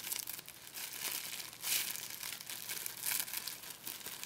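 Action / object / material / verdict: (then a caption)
scrape / plastic packing tape / plastic film / none. A sheet of clear plastic packing tape, a thin sticky film, is stretched, scrunched and peeled between the fingertips of both hands. It gives a bright, continuous crinkling and crackling with brief swells of sharper tearing-like rustle.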